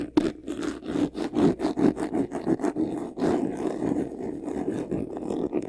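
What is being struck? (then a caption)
Faux leather covered vanity case. Short nails scratch quickly across the front face of a medium white vanity case, a hollow box covered in textured faux leather. The result is a run of fast, rough scraping strokes with a hollow, mid-low body; early strokes come as separate bursts, then blur into a steadier rasp toward the end.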